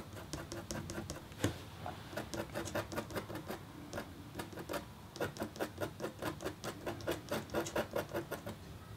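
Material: Copper foil.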